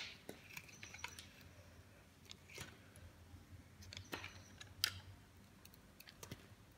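A metal blade shaves and cuts slices from a dry, solid cream Imperial Leather soap bar held in hand. The result is a series of quiet, crisp, bright scraping crackles and sharp clicks that stop dead with no ring, over a faint low hum.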